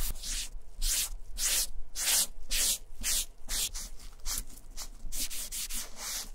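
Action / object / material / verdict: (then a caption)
scrape / leather satchel bag / leather / none. A foam sponge dauber on a stick is rubbed back and forth across the flap of a German vintage leather satchel bag, spreading wet black dye. Repeated rhythmic strokes make bright, hissy swishes with a soft, damp scrubbing texture, separated by brief pauses between passes.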